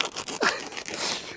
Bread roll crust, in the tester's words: È freschissimo! E scrocchiarello.